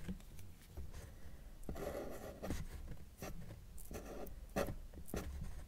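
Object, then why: Felt-tip marker on drawing paper. A felt-tip marker draws small tree strokes on a sheet of flat white drawing paper that is thin and solid, its tip rubbing across the surface. Short, dry, scratchy strokes come in quick bursts with brief pauses between them. The sound stays quiet and close, with a soft squeak in some strokes.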